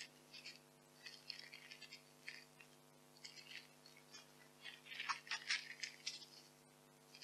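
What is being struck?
Expanded polystyrene packing peanuts.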